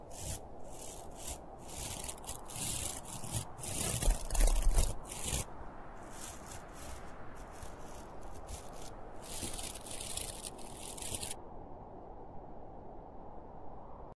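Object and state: Plush fabric Santa toy.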